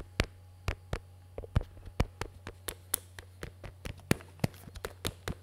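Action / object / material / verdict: tap / plastic earmuffs with hollow cups / plastic / none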